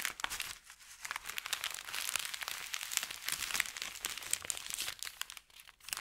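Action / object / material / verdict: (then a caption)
scrape / thin kraft paper bag / paper / none. An empty, crumpled paper bakery bag made of thin kraft paper lies flat on felt while palms and fingertips rub and press it. The result is dense, continuous crinkling and crunching, bright and high with almost no low end, in quick overlapping bursts that swell and fade over six seconds.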